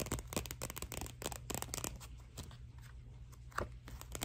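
Long nails scratch and tap the glossy paper cover of a thin Scholastic paperback picture book, "May I Please Have a Cookie?", held up in both hands. Quick, bright, papery scratches and crisp taps come in rapid bursts, heaviest in the first two seconds, over a steady low hum.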